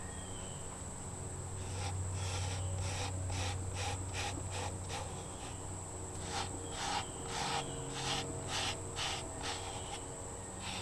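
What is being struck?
Nothing is struck.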